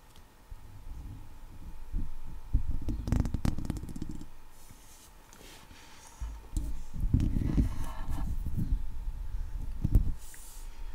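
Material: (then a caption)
Steel mesh. Long leopard-print nails scratch and tap the top and sides of a hollow steel wire-mesh microphone head. The result is a dense, low, rumbling scrape with irregular thumpy taps, fading to a quieter stretch midway before picking up again.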